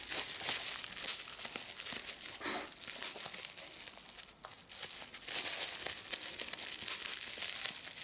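A small hollow piece of clear, air-filled plastic bubble wrap is held in both hands while the bubbles are pinched and popped with fingertips and long red nails. The result is a dense, bright crinkling and crackling with quick sharp snaps. A brief quieter dip falls around the middle of the clip.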